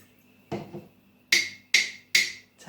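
A spoon taps a ceramic mug holding more water than before, the fullest amount in a pitch test where different water levels give different pitches. After a duller knock, three bright, short ringing taps sound at about 2.1 kHz, with the start of another at the very end.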